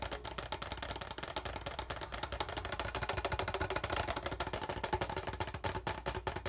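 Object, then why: Thin PET plastic water bottle. Fingertips of both hands rapidly tap and scratch the thin side of an empty, hollow, clear PET plastic water bottle with a frosted label sleeve. The result is a dense, fast stream of dry, crackly clicks and scrapes with a faint hollow ring near 870 Hz, holding a steady level for about six and a half seconds.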